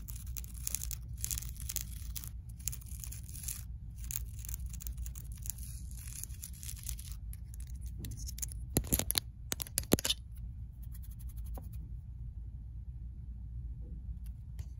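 Long acrylic nails scratch and tap across the textured surface of a flat-woven, multicolored loop carpet on the floor. Bursts of dry, hissy scratching fill the first eight seconds, followed by a few sharp taps between about nine and ten seconds. The sound then fades to quieter rustling over a steady low hum.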